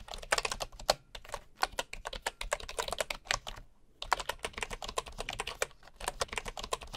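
A bamboo wooden keyboard is typed with the fingertips of one hand while a wooden mouse lies idle beside it. A steady run of quick, dry, clicky key taps sounds mid-toned to bright with almost no ring. The typing pauses briefly just before the four-second mark, then resumes at the same pace.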